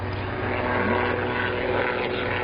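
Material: Nothing is struck.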